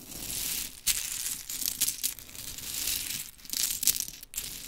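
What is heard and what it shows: Long chrome fingernails scoop handfuls of pink painted wooden mini clothespins from a pile on glitter fabric and drop them back, then rake through the pile. The pins land in bright, dry clattering bursts with sharp clicks over a crisp, steady rustle, with almost no low end and no ringing.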